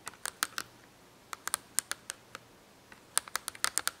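Long acrylic nails tap and scratch on an open cardboard marker box with markers inside. About twenty quick, dry, bright clicks come in irregular clusters, with a short pause in the middle. Each one stops almost instantly, with no low end, at a quiet level.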